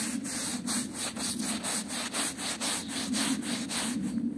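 A small, wet, patterned woven rug is scrubbed with a small hand brush by a yellow-gloved hand, including along its fringe. Quick, rhythmic back-and-forth strokes make a steady, bright bristle hiss with a soft midrange rasp, pulsing with each pass of the brush.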